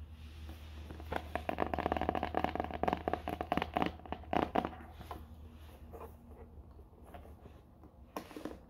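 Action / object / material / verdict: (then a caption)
tap / small rigid cardboard box / cardboard / none. Long painted fingernails rapidly tap and scratch the face and edges of a small, flat, rigid black cardboard product box for a Ridge wallet, unwrapped and apparently closed with contents inside, held in both hands. Dry, crisp clicks and scratchy scrapes come thick and fast for the first few seconds, then thin out to softer scratching before a couple of final sharp taps, all over a faint steady low hum.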